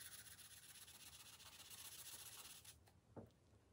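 A green felt-tip marker held in the fingers rubs back and forth across the thin paper page of an open coloring book lying flat on a glass table, colouring in. A steady, bright, scratchy rubbing runs for most of the clip, then stops, followed by one soft, short tap.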